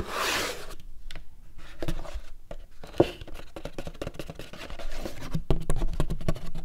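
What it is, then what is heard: Empty paperboard popcorn bucket. Fingers rub and scratch along the outer wall of a large, empty, hollow paperboard popcorn bucket held tilted. A bright, hissy rush opens the clip, followed by irregular dry scraping and rubbing dotted with quick crackly ticks and one sharp tap midway. The strokes leave a faint, hollow low resonance under the scratching.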